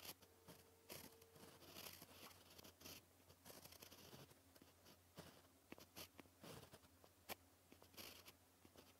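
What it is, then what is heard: Pen writing on paper. A white gel pen writes on a black paper sheet, its tip scratching and tapping across the surface. Short, dry, bright scratches and clicks come in quick bursts, with a faint low hum underneath.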